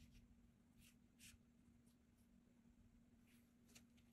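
A blue mechanical graphite pencil scratches strokes across a flat cream paper sketchbook page, held down by the other hand, while sketching a figure. Short, bright, papery scratches come and go over a quiet, steady low hum with a faint tone near 240 Hz.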